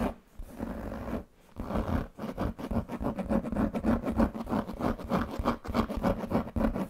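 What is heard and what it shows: Fingertips and nails scratch and rub the leather panel of a large black pebbled leather handbag with a metal buckle. After two brief pauses near the start, a fast, steady run of dry, papery scratching strokes follows, with a muted low-mid texture and no bright edge.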